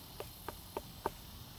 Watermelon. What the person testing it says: This one is not ripe yet, and I'll show you the difference when we thump them. That has a very flat sound.